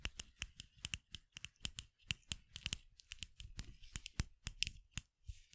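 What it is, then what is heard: Bamboo piece tapped with nails. Long acrylic nails tap on a short hollow bamboo piece, a Nezuko cosplay muzzle from Demon Slayer, held in the hands close to the microphone. A quiet, uneven run of sharp, dry clicks follows, each with a bright tick near 2.7 kHz over a soft hollow knock that dies away almost instantly, with faint scratchy rubs between taps.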